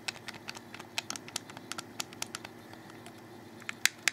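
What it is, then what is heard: Plastic game controller buttons. Fingertips rapidly click the buttons of a hollow black plastic Xbox 360 controller held in the hands. About 17 sharp, bright, dry clicks come at an uneven quick pace, each stopping almost instantly over a faint steady background. The last two clicks near the end are the loudest.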